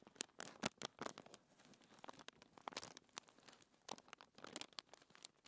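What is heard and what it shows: Fingertips with long nails rub and scratch a thin white paper sheet lying on a table, then lift its edge at the end. The result is a run of quick, dry, crinkly scratches and rustling bursts with a bright, crisp top and almost no low end.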